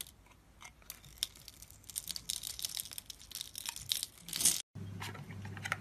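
A solid pink bar of soap held in the fingers is scraped and cut into small cubes with a metal blade, sending soap shavings falling off. Dry, crisp scraping and crunchy slicing sounds come in quick bright bursts, rising toward a louder run of cuts before a brief moment of silence. Softer scraping then resumes over a low, steady hum.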